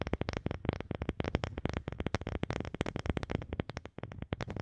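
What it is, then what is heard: Wooden object. A wooden object is tapped with fast, uneven strokes in a steady stream of short, dry knocks. The taps are low and hollow-sounding, centred around 110 Hz with little brightness, and each dies away almost instantly with no ringing.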